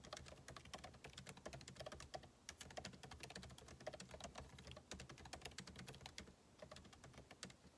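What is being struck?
Laptop keyboard, plastic keys in aluminium body.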